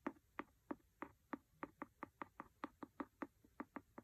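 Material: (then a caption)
Cloth, board. A wooden pencil taps rapidly on the cover of a large, solid, red cloth-covered hardcover book. Seventeen short, dry, quiet taps come in a steady rhythm over about four seconds, each with a dull low-mid thud that dies away almost instantly.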